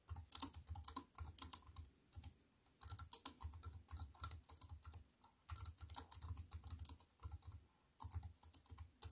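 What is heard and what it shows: A slim wireless keyboard with an aluminium frame and plastic keys is typed on rapidly with fingertips and long nails. Dense bursts of bright, crisp clicks mix with soft low thuds and are separated by brief pauses.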